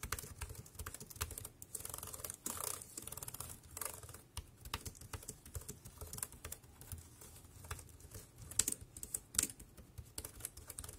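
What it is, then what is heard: Plastic wireless keyboard. A dark grey compact plastic Bluetooth keyboard with round keys lies on black plastic sheeting while one hand types rapidly on the keys with fingertips. Quick, bright plastic clicks and taps patter continuously with very short decay, a few louder key strikes standing out over a faint low rumble.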